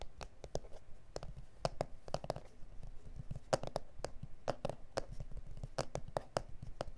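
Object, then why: Plastic cutting mat. Fingernails of both hands scratch and tap on a flat, solid A4 self-healing plastic cutting mat with grid lines. A quick, irregular series of short, dry clicky taps with bright ticks and a faint hollow tone around 570 Hz rises over a soft, low scratching rustle. Each tap dies away almost instantly.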